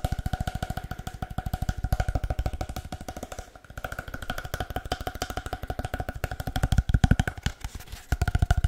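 A long, hollow, empty cardboard paper towel tube is tapped rapidly with the fingertips. It makes a fast, uneven stream of short, dry, hollow thumps, deep and low with a faint resonant tone ringing through. The tapping briefly dips in volume partway through before picking up again and growing louder toward the end.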